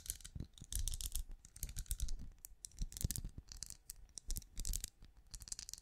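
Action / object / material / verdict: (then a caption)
tap / ridged translucent plastic night lamp / plastic / none. Long nails tap and scratch the bumps of a small, hollow, glowing night lamp with a ridged, translucent plastic-like shell, held up in front of the mic. The result is a rapid run of light, clicky taps and scratchy rasps with a bright crisp edge over soft low thumps. Each tap dies away almost instantly.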